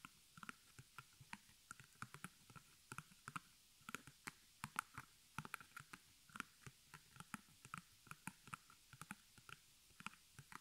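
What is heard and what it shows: Long nails on both hands tap rapidly across the front of a small white stretched canvas, embroidered with black thread, on a hollow wooden frame held upright. About forty short, dry clicks come in quick irregular bursts, each dying almost instantly, with a light hollow ring near 1.4 kHz and bright tick edges over a quiet background.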